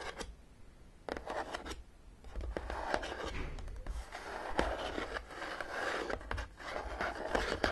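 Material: Cardboard.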